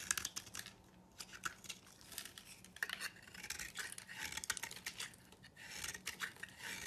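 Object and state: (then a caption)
Soap bar being shaved. A knife blade scrapes and shaves a hand-held solid white oval soap bar, peeling off flakes. The clip is a quiet, steady run of crisp, bright scraping strokes with sharp little crackles. Each stroke stops dead with no ring.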